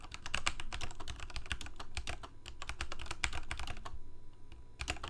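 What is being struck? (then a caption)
Plastic mechanical keyboard keys. Fingertips of both hands type rapidly on a full-size Corsair K68 backlit plastic mechanical keyboard with Cherry MX Red switches. Quick, dense key taps each give a short, bright click over a low thump. A brief lull comes near the four-second mark before a final burst.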